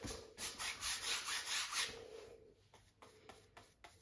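A wide flat brush is swept across a medium-sized stretched cotton canvas on a wooden frame, the taut fabric over the hollow frame resting on an easel. Dense, bright, hissing rubbing strokes swell in quick succession for about two seconds. They then fade into quieter, short separate brushing swipes.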